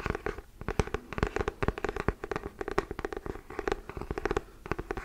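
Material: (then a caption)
Cardboard. Fingernails scratch and tap the cardboard-and-paper cover of a solid hardcover book. The result is a quick, dense run of short, dry clicks and scratchy rasps with almost no ring, sitting mostly in the low and lower-mid range and never turning bright.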